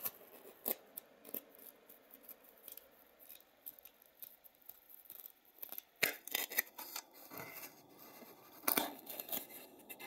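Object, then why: Polystyrene foam egg carton scraped with a wooden matchstick. A wooden matchstick scratches and pokes into the foam of one cup of an empty white polystyrene foam egg tray with hollow cups. Quiet, irregular, bright squeaky scrapes and crisp crackling pokes come at an uneven pace, with a few sharper, louder jabs standing out.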